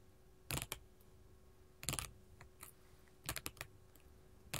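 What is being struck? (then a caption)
Sheet of small glass mosaic tiles tapped with metal finger claws. A flat sheet of small colored glass mosaic tiles resting on a table is tapped with long gold metal filigree finger claws. Sharp, bright clicks come in loose, irregular clusters over a quiet background, each dying away almost at once.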